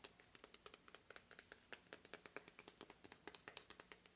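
An obsidian statue of a goddess of home and protection, made from stone formed from volcanic lava, is tapped over and over in a quick, steady run of about thirty light taps. Each tap gives a bright, glassy clink with a faint high ring that dies away almost at once, and there is no low-end thump.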